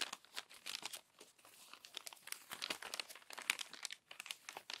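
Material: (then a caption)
Paper. Long nails turn and smooth the crumpled, crinkled pages of an open glossy paper magazine. A steady stream of dry, bright crinkling and rustling comes in quick, dense bursts, with almost no low end and no ringing.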